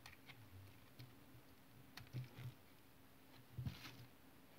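A solid, translucent brown bar of tar soap is held in the hand and carved with a utility knife blade in short scraping cuts. Quiet, dull, low scrapes come at an irregular pace, with brief bright crackles on the stronger cuts and very little ring after each.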